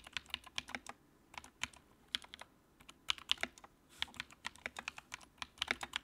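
Fingertips type on the keycaps of a compact white plastic mechanical keyboard with a backlight. About 30 quick, bright clacks come in an uneven, steady run, each dying away almost at once, with almost no low end.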